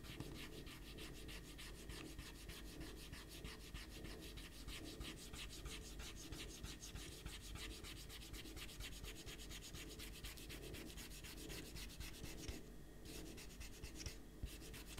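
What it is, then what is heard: Paper sheet being erased. An eraser rubs a pencil drawing off a stack of thin white printer paper sheets on a desk while one hand holds the sheets flat. Quick, steady back-and-forth scratchy rubbing strokes run throughout over a low, soft rumble, with the bright hiss briefly dropping away just before 13 and 14 seconds.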